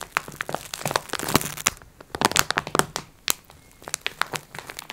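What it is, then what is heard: Plastic-wrapped pack of sponge cloths. Long red acrylic nails scratch and tap on a flat rectangular multipack of sponge cloths wrapped in crinkly clear plastic film, lying on a wooden table. Bright, sharp clicks and dry crackling crinkles come in quick irregular bursts, with quieter scratchy rustling between them.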